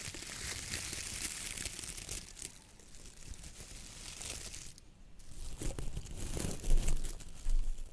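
A hand squeezes a round coconut fiber (coir) dish brush with a wooden handle, then fingertips and nails rub its bristles. The result is a dense, dry crinkling and scratching with a bright, hissy edge that fades to a softer rustle midway, then returns in louder, coarser bursts toward the end.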